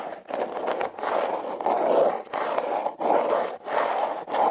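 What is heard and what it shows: Long red nails scratch the ribbed surface of a hollow, red heart-shaped corrugated cardboard box. The result is a series of dry, raspy scraping strokes, full in the midrange, separated by brief pauses in an uneven rhythm.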